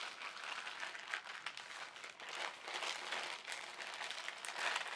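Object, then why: Thin polyethylene carrier bag. An empty white printed polyethylene shopping bag, folded into a small strip, is squeezed, folded and crinkled by both hands using fingertips and short nails. The result is a slow, gentle, continuous crackling crinkle, bright and airy with no low end, swelling and easing at a fairly steady soft level.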